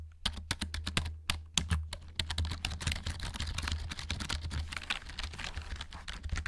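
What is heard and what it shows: Fingertips tap and press the plastic keycaps of a black plastic RGB gaming keyboard held upright close to the mic. Sharp, short clicks start spaced apart, then quicken into dense, continuous typing-like clatter with bright tops over a steady low hum.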